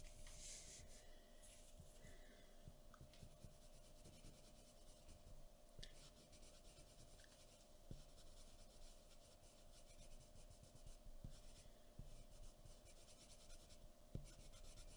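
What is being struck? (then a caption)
Pencil on a paper sheet on a wooden table. A pencil makes short scratching and rubbing strokes on a white paper drawing sheet resting on a wooden table. The faint, dry strokes sit over a low, steady background hum, with a few slightly sharper scratches standing out near the end.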